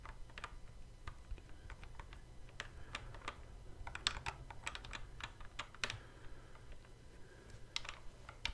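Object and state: Plastic guitar controller buttons.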